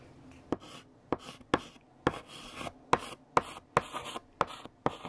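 A hand writes letters with a pink chalk stick on a large flat black chalkboard. Nine sharp chalk taps ring out against the board, each followed by a short dry scratching stroke across the surface.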